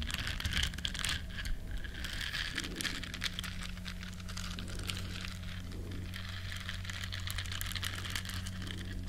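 Long nails scratch the bristles of a small, flat, solid yellow silicone scrubber shaped like a duck. It makes a steady, dense, crinkly scratching with bright crackles throughout, over a constant low hum.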